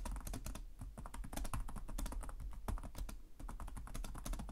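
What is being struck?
Plastic laptop keyboard.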